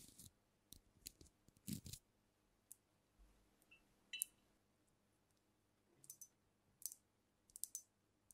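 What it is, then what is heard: Glass liquor bottle tapped with nails. Long acrylic nails tap and click along the body and neck of a glass cognac bottle with a paper label and a black capsule on the neck, filled with amber liquid and held tilted in front of the mic. Short, bright, dry clicks with no ring come in scattered bursts separated by quiet gaps, some landing as quick double taps.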